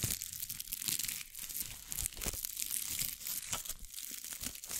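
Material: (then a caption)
Glitter. A small, thin, hollow glitter-covered masquerade mask is pressed over the top of a microphone and scratched with long acrylic nails. Close, dense crinkling and scratching fills the clip, bright and crisp with rapid ticks and little low end.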